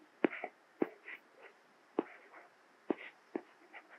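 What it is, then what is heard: Plastic stylus tapping on glass tablet screen. A plastic Apple Pencil tip writes Korean text on the small glass screen of an iPad Mini tablet. Sharp, dry taps as the tip touches down are followed by soft, brief scratching strokes, repeating at an uneven pace with quiet gaps in between.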